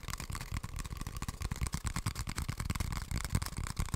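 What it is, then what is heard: Empty cardboard tube. An empty, hollow brown cardboard toilet paper tube is held upright and tapped with long nails. Rapid, irregular taps produce short, dull, hollow low thuds, each with a brief bright click from the nails.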